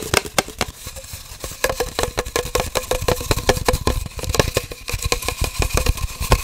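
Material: Cardboard.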